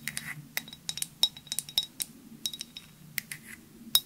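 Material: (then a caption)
Glass. A clear glass perfume bottle with a white cap, held horizontally, is tapped with long nails in a quick, irregular run of about nineteen light taps. Each tap gives a bright, dry click with a brief glassy ping near 3.8 kHz that dies away almost at once, over a faint low hum.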